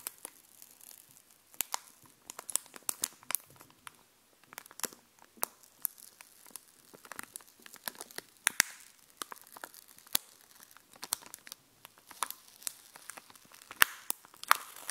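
Long glittery nails scratch and tap across a small sheet of domed epoxy resin stickers on a backing card. Irregular, crisp plasticky clicks and scratchy crinkles come through bright, with no low end. Sharp taps rise above the steady scraping throughout.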